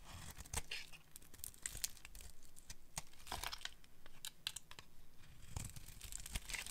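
A solid pink oval bar of dry soap, held in the hand, is carved with a metal blade that scrapes off curled shavings. Short, dry, crisp scraping and crackling strokes come in quick irregular bursts with a bright, papery texture and almost no ring.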